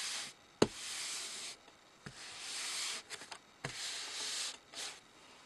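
Flat palms and fingers rub and slide across a large, thin sheet of white paper lying flat on a dark table. Several long, bright, hissy swishes alternate with short quiet gaps, punctuated by sharp, dry taps and brief crinkles as the hands land on and shift the paper.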